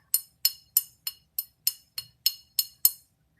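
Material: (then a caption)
Ceramic. A Hull pottery dancer figurine with red hair and purple coloring, which has a hairline crack in the back, is tapped ten times at a steady pace. Each tap is a short, bright click that dies away almost at once with no ringing tone, the dull, dead sound that points to the crack.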